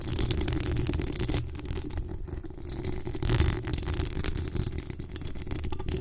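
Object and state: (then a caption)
Metal mesh microphone grille being scratched. Long acrylic nails on both hands scratch and tap the hollow metal mesh grille of a desktop USB microphone. A dense, continuous rumbling scrape dominated by low, boomy tones is heard, with faint rattly taps and a brief brighter, louder swell of scratching around the middle.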